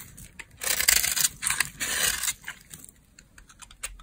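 A solid, pale, dry laundry soap bar held in the hand is scraped and shaved with a metal blade into fine crumbs and flakes. Bright, crisp scraping strokes come in a few loud, drawn-out bursts, then taper into quieter, scattered scratches and crumbling ticks.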